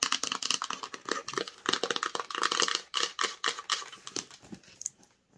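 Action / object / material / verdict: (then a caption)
tap / rigid cardboard phone box / cardboard / none. Long nails rapidly tap and scratch the front and sides of a small, hollow, black rigid cardboard Samsung phone box as it is turned in the hands. The result is a dense run of quick, dry, bright clicks and rasping scrapes with almost no low end, each ending instantly, thinning out toward the end.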